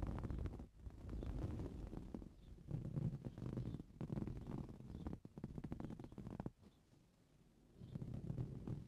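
Both hands with short blue-painted fingernails scratch the surface of a soft, filled, green coarse-weave fabric cushion lying on a purple towel, ending with the hands resting flat on it. The result is a quiet, low, rumbling scratch in rapid bursts, separated by brief pauses and one longer near-silent stretch before the scratching resumes.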